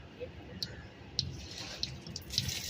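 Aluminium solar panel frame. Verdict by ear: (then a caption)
Wet. Rainwater trapped inside the edge of a solar panel's aluminium frame, which has no drain holes, sloshes as the panel is moved after rain. Soft, bright splashing ticks and sharp little water knocks sound over a low rumble. The sloshing confirms water is collecting inside the frame.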